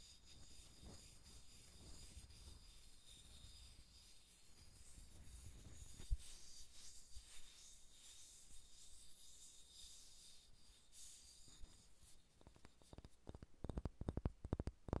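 Long red-painted nails scratch and rub a large, solid, unfinished wooden sphere with visible grain rings, held above a recorder. Soft, close, dry scratching and rubbing over a low rumble fills most of the clip. Toward the end it gives way to quicker, sharper tapping clicks.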